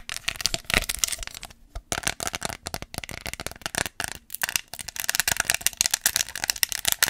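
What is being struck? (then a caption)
Small hollow plastic nail case tapped with fingernails. A small, white, hollow plastic case holding red press-on nails is held in one hand and tapped rapidly with long acrylic nails, possibly rattling the nails inside. The result is a dense stream of sharp, bright clicks and light rattles with almost no ring or low end, broken by brief pauses before the tapping resumes.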